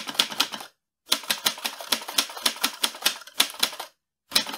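Fingertips type on the keys of a mint-green portable metal manual typewriter loaded with paper, its hollow mechanical body rattling with each stroke. Three bursts of quick, sharp, bright clacks with almost no low end are separated by short silences, each strike dying away almost instantly.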